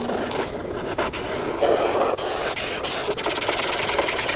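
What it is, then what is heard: Felt-tip marker rubbing on a paper page. A hand rubs a felt-tip marker over a thin paper coloring book page with a sunscreen tube drawing while filling in colors. The result is a steady, scratchy, bright rubbing with short strokes that swell and dip, with very little low end.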